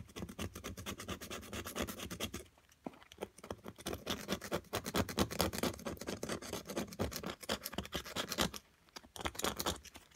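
A solid white plaster excavation block, held in long-nailed fingers, is scraped repeatedly with a small metal carving pick. The result is a steady, dense, bright scratching with many quick strokes, broken by two brief quiet pauses.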